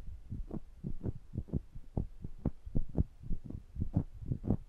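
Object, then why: Metal microphone capsule grille. Two small metal microphone capsules are held in the hands while the thumb pads rub and tap their mesh grilles. The result is a string of soft, deep, muffled thumps at an irregular pace of about two per second, over a low rumbling rub with almost no bright content.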